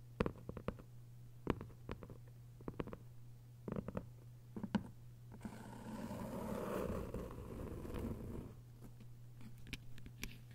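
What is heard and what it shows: Long nails tap and scratch the cover and spine of a closed hardcover book with a paper dust jacket, lying flat. Sharp, brief clicks come in irregular clusters over a steady low hum, with a softer, sustained scratching passage in the middle of the clip.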